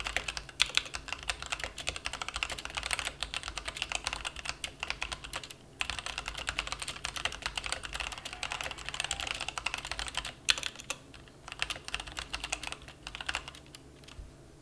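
Both hands type rapidly with their fingertips on a plastic mechanical keyboard resting on a felt mat. Bright, short clicks pour out in a dense stream, with a brief pause near 5.7 seconds. The typing thins into sparser, quieter taps after about 11 seconds.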